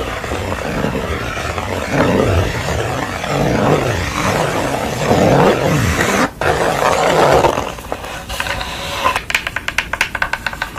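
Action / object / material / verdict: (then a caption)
scrape / wooden stretcher bars and canvas back / wood / none. Long nails scratch and tap the wooden stretcher bars and the unpainted back of a canvas. A dense, rasping scrape runs for about eight seconds, then gives way to quicker, lighter taps with a bright, dry click that dies away almost at once.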